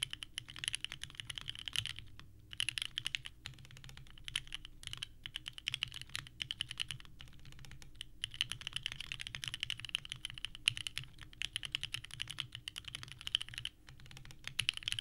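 A small 65% mechanical keyboard with a purple case and white ABS keycaps sits on a desk mat. Both hands type continuously with the fingertips, producing a steady stream of bright, clacky key presses with very short decay. Brief pauses fall near 2 and 14 seconds, and a faint low hum runs underneath.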